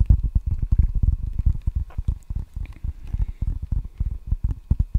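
Fingertips tap rapidly on the red rubber face of a solid wooden table tennis paddle held up close to the mic. The result is a dense run of soft, deep, muffled thuds that die away almost instantly, with no bright ring.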